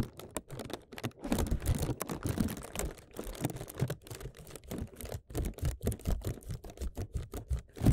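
Fingertips tap fast on a clear plastic zip bag covering a microphone, crinkling the plastic over the mic head. The result is a rapid, uneven stream of short, dull, bass-heavy taps and soft rustling crinkles, with almost no ring after each tap.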